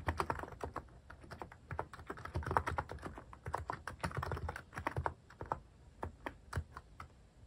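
Fingertips type repeatedly on a cream plastic-case mechanical keyboard fitted with cat and paw-shaped plastic keycaps. A steady, uneven stream of short, dry clacks carries a solid low thock and a mid-pitched click around 900 Hz, with each keystroke dying away almost instantly. The typing is brisk and dense at first, then thins into softer, more spaced strokes toward the end.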